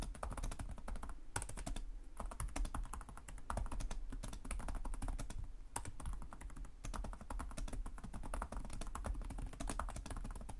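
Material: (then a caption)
Plastic. Fingertips with short nails from both hands type rapidly on the plastic chiclet keys of a black laptop resting on a desk. A dense, continuous stream of short, dull clicks and soft thumps follows, with a heavy low-end body and quick decay. Brief pauses break up the steady typing.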